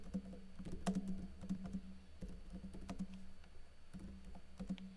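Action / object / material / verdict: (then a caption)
tap / plastic laptop keyboard keys / plastic / none. Fingers with blue nails type rapidly on a plastic backlit laptop keyboard with plastic keycaps. Quiet, soft clicking taps patter in quick, uneven bursts over a steady low hum.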